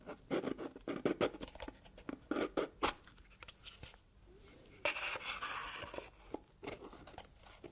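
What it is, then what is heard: Cardboard gift box. A small red textured cardboard gift box with a ribbon is turned in the hands while long red nails scratch and tap its sides and lid. Quick, dry taps with little ring come in clusters, and a longer bright scratching stretch follows.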